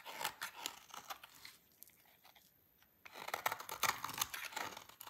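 A utility knife blade carves a solid, dry orange laundry soap bar, and long shavings break off. Crisp, bright scraping crunches come in quick, uneven bursts, then fall to near silence for about a second and a half before the cutting resumes louder.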